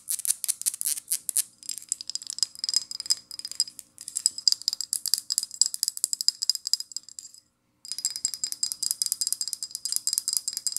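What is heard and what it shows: Long painted acrylic nails tap and scratch a small amber glass rose water spray bottle with a white plastic pump top and red label, apparently filled with liquid, held in both hands. Dozens of rapid, crisp, bright clicks and scratchy ticks run in dense bursts with a faint high glassy ring, breaking off for a brief silence near the end before resuming.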